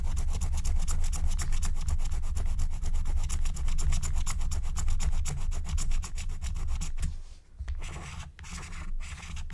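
A wooden stylus scratches and rubs the coating off a thin black-coated scratch-art card lying flat, making a quick, steady run of dry, raspy rubbing strokes over a deep low rumble. After about seven seconds the scratching turns quieter and more broken up, with brief pauses between strokes.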